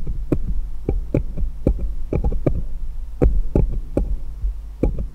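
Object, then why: Small steel jeweller's screwdrivers. Fingers hold one small solid steel jeweller's screwdriver and tap it against others in a pile, giving a quick series of short, sharp metallic clicks with brief bright ticks that die away almost at once. A steady low hum runs underneath throughout.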